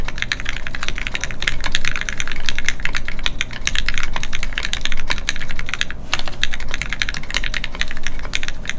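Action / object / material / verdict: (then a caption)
tap / mechanical keyboard with plastic keycaps / plastic / none. A Keycult No2 Rev1 mechanical keyboard with Gateron Ink switches and red plastic keycaps, resting on a desk mat, is typed on continuously with the fingertips of both hands. Rapid, bright, short clicks and clacks come in a steady stream over a constant low hum.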